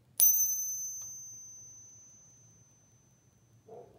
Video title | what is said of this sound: Mercury Dime - Coin Ping Test | that's the sound of sound money